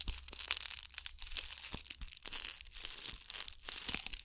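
A gold ball covered in bugle beads is held beside a microphone and scratched with long nails. The result is a steady stream of bright, crisp, crinkly scratching and clicking with many short, sharp transients and almost no low end.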